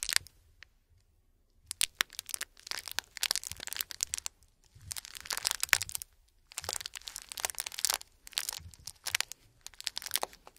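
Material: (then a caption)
Plastic. A small white printed "Gold Mints" candy pouch, likely plastic and filled with mints, is held in both gloved hands with bare fingertips and crinkled and squeezed. Bright, sharp crackling and crinkling comes in dense bursts separated by brief quiet pauses, with almost no low end.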